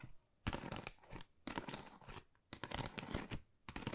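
Long nails tap and scratch a flat, pale pink, pebble-textured Dior cardboard folder that is thin and hollow. The result is dry, crackly scraping and light tapping that comes in repeated bursts with short quiet gaps between them. The sound is bright and rustly, with a soft hollow thump underneath.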